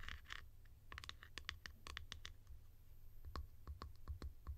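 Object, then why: Plastic bottle cap. Long nails scratch the sides and textured top of a hollow blue plastic cap, making quick, dry, bright scratches and clicks with very little ring. A steady low hum runs underneath.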